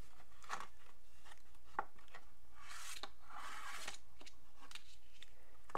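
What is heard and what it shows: Fingers rub a small, hollow, printed Japanese cardboard box of Animal Crossing merchandise and open its flap. Soft scraping and rustling alternate with sharp little taps and clicks, with a longer brushing swish near the middle. The contents of the box stay out of view.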